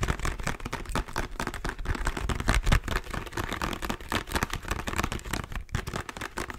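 Fingertips and nails tap and scratch rapidly across the surface of a small, hollow plastic squeeze bottle of body lotion held in both hands. The result is a dense, continuous stream of short, dry clicks and scrapes over a hollow, low-heavy thump.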